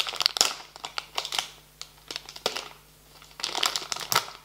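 A small, filled, blue and yellow printed plastic foil snack bag on a table is gripped, bent and crinkled with fingertips and nails. Bright, sharp crackles come in dense bursts through the first half, thin to scattered snaps with quieter gaps, then swell again into a busy stretch of crinkling near the end.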